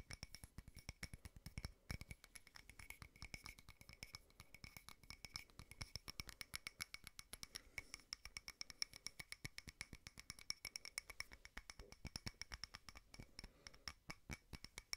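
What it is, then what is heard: Frosted glass candle holder. A small frosted glass votive candle holder is tapped rapidly and scratched with fingernails. The result is a dense, quick stream of sharp, dry clicks with bright, faint glassy ringing tones and soft scratching underneath.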